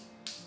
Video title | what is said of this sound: Setelah Handover Lakukan hal ini dahulu, claim garansi unit | di ujung-ujungnya ini, kalau begini berarti lantainya padat ya